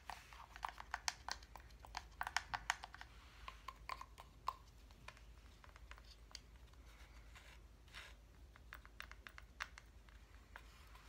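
Fingernails tap rapidly on the surface of a solid wooden reindeer block calendar with a wire antler, held up close. The taps are quiet, short, dry clicks with a bright edge, coming in quick bursts at first and then spacing out. Together they sound much like typing on a keyboard.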